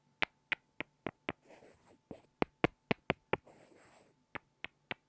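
Two small, solid, light-wood blocks are tapped together by hand, making 13 sharp, dry, clicking knocks in three quick runs. Between the runs come two soft, hissy, rustling stretches with a bright top. Each knock dies away almost instantly.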